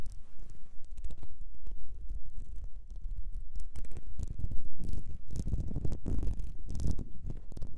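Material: Glass.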